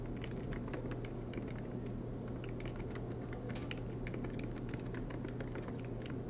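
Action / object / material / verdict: tap / laptop keyboard with plastic keys / plastic / none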